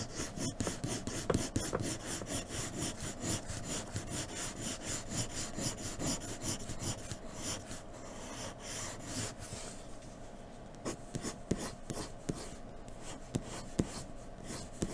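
A graphite pencil rubs and scratches shading strokes across a flat white sheet of drawing paper lying on a dark table. Quick, steady back-and-forth strokes make a dry, raspy scratching for about nine seconds. The sound then turns quieter and softer, broken by occasional sharp, bright ticks.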